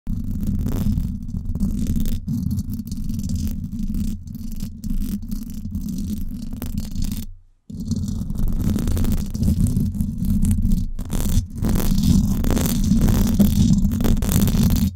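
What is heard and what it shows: Long black and glitter acrylic nails scratch across the hollow, hand-sized silver woven-wire dome grille of a Blue Yeti microphone. The result is a dense, rapid, uneven rasping heavy in low, boomy rumble with a steady buzz near 200 Hz. A brief near-silent gap falls around the middle before the scratching resumes slightly stronger and brighter.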